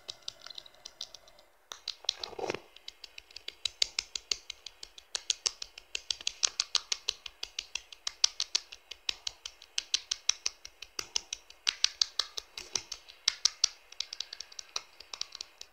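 A blue Infinix phone lies face-down while its textured plastic back cover is tapped very fast with fingertips and nails. After a brief quiet start, a steady stream of rapid, bright, dry clicks follows. Each tap dies away almost instantly, with a slightly heavier knock early on and almost no low end.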